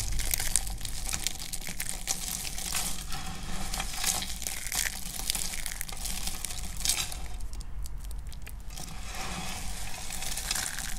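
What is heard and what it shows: Fingertips with dark painted nails press into and crush a pile of thin, hard, brittle pink dry soap shavings with some green bits on a black surface. A dense, steady stream of bright, crisp crackling and crunching runs throughout, like crumpling, over a faint low rumble.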